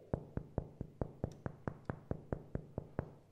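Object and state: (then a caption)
Baked-through bread loaf (hollow). A freshly baked butter braid loaf (small braid baked 39 minutes, large 45) is knocked 14 times in a steady rhythm to check doneness. Each knock is a short, dull, low thud with almost no ring, giving the hollow sound of a perfectly baked loaf.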